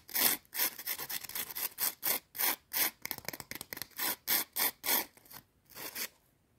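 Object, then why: Thin potato chips scratched with fingernails. Long teal acrylic nails scratch two small, thin, brittle curved potato chips stacked and held in the hand. The result is a quick, uneven run of bright, dry rasping strokes with a crisp crackle, each burst short with almost no low end.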